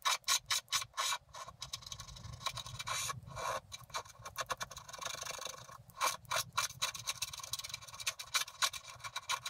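A wooden stylus scrapes the black coating off a flat scratch-art paper card near the top right corner, freeing a picture of a bicycle in a blooming meadow. Rapid, irregular rasping strokes come in quick bursts with short pauses, producing a dry, bright scratching texture with almost no low end or ring.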